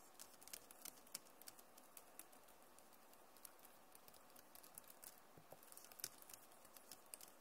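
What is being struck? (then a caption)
Plastic laptop keyboard keys. Fingers rub and type on the plastic keys of a backlit Acer laptop keyboard. A quiet, steady run of short, dry, bright clicks and taps mixes with soft scratching, each stroke stopping almost instantly.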